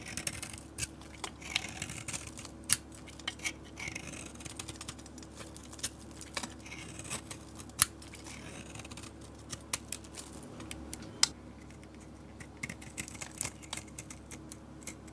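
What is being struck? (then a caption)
Bar of soap cut with a metal blade. A metal utility blade scrapes and carves curls off a solid peach bar of soap with a dark painted coating. Soft, bright, crackly scraping runs throughout, broken by sharp, quick clicks and snaps as pieces break away.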